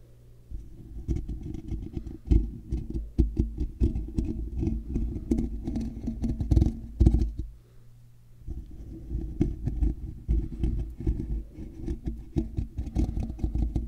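Fingertips and nails slowly scratch a hollow, black woven metal mesh microphone grille from below and from the sides. The result is a dense, low, rumbling scrape with quick crackling ticks and a faint high fizz. The scratching stops briefly just before the eight-second mark, then resumes at a steady level.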